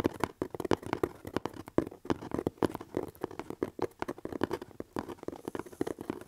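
Fingertips and nails scratch and tap across the surface of a hollow corrugated cardboard box held up in the air. A quick, uneven run of short, dry taps carries a dull, hollow mid-range tone, with brief scratchy rasps between them. Each sound dies away almost at once.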